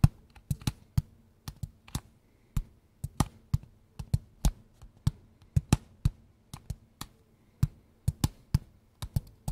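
A small, square, closed, hollow kraft cardboard box held in both hands is tapped and scratched with fingertips and nails. About 29 short, dull, hollow taps come at an irregular pace, each with a brief bright click at the onset and a quick, deep thump that dies away almost at once. Faint scratching fills the gaps over a quiet, steady low hum.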